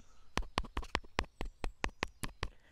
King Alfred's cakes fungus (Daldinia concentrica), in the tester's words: just tap it on there mic and they sound hollow